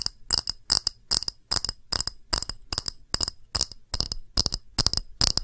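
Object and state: Glass dish.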